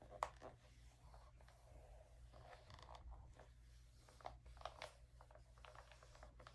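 Fingertips rub and smooth the page of an open early-2000s glossy paper magazine on a table, then grip its edge to turn it. Soft, papery swishes and rustles are broken by a few sharp, bright crinkles as the page is handled, over a steady low hum.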